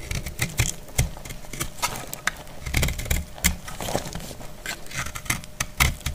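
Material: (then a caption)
Soap. A dry, solid, palm-sized pink speckled soap bar is scraped and cut with a metal utility blade, shedding crumbly shavings. Quick, crisp scraping cuts and brittle clicks follow one another irregularly, each with a brief low thud and a bright, hissy crackle that dies away almost at once.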